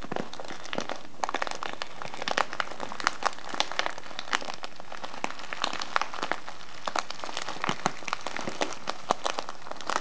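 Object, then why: Kraft paper tea bag with plastic window. Fingertips squeeze, fold and crinkle a small, hollow brown kraft-paper tea package with a clear plastic window, filled with loose herbal tea. The result is a steady stream of dry, crackling paper crinkles, with sharp bright snaps scattered over a soft rustling bed throughout.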